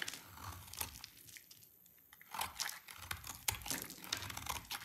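A utility knife blade shaves and scrapes curls off an oval, hand-sized, solid yellow bar of dry soap held in one hand with long red nails. Dry, bright crackling and crinkly scraping comes in short, sharp bursts. A quieter stretch in the first half gives way to denser, louder scraping toward the end.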